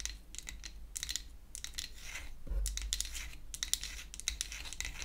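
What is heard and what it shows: A small pink-painted wooden toy hair dryer of solid flat wood is held in the hands and scratched and tapped with long acrylic nails. Rapid, bright, dry clicks and scratchy strokes come in clustered bursts with almost no ring, over a low steady hum.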